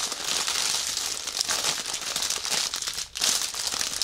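Fingertips press and pat a large, soft, clear plastic bag wrapped around a white fabric-like prop lying on a table. They make a continuous, bright crinkling with dense crackles and almost no low end, pausing briefly near the three-second mark before resuming.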